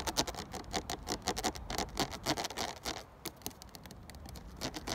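Fingertips quickly tap and scratch the ridges of a clear, ridged 500 ml plastic water bottle full of water. The result is a fast, irregular patter of bright, crackly clicks and scrapes, densest over the first three seconds before easing into a softer scratching texture with a few sharper taps near the end.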